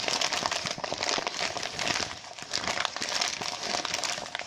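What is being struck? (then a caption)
Deflated mylar foil balloon. A deflated mylar foil balloon printed with colorful lettering is held and crinkled, with fingertips and nails scratching its thin foil surface. The result is a steady, bright crackling and crinkling texture made of many quick, dry clicks with almost no low end. The sound dips briefly in the middle before picking back up.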